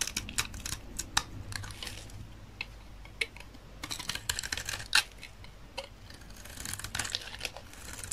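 A utility knife blade repeatedly cuts and scrapes a solid rectangular bar of dry olive-green soap, curling flakes off it. The result is a quick series of crisp, bright crunches and scratchy scrapes that stop dead with no ring, over a faint steady low hum.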